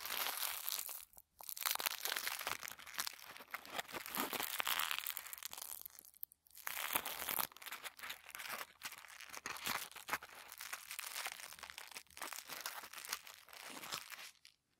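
A crumpled ball of thin white tissue paper is held in both hands while the fingertips squeeze and rub it. It gives off continuous, bright, dense crinkling and crackling with no low rumble. Brief pauses fall near 1.3 and 6.3 seconds, and the sound fades out at the end.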